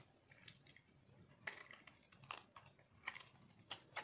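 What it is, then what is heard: Dry soap bar being scraped. A metal knife carves and scrapes a solid pink speckled bar of dry soap held in one hand. Quiet, bright, dry scratching runs throughout, broken by short crunchy scrapes that cut off almost at once, with almost no low end.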